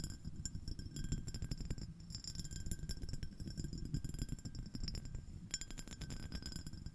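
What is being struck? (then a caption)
Small glass shell-shaped dish tapped and scratched with fingernails. Long acrylic nails on both hands rapidly tap and scratch a small, clear, iridescent, scallop-shell-shaped shallow glass dish, held empty in front of the mic. Dense, quick clicks and glassy clinks with bright high pings die away almost at once, over a steady low scratchy rustle.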